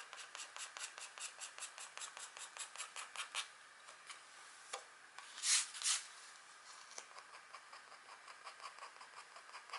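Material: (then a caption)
Wax coating. A pointed green stylus, held in a long-nailed hand, scratches continuously across a flat, thin, black wax-coated scratchboard card. It makes a steady run of short, bright, dry scraping strokes at a brisk, uneven pace. Two louder, harsher rasps stand out near the middle before the light rhythmic scratching resumes.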